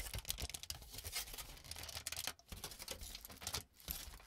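A crumpled sheet of aluminum cooking foil is lifted, then laid flat on a table and pressed and rubbed with the palms and fingertips. It makes a dense, bright crinkling and crackling with a faint low rumble underneath, broken by two brief quiet dips.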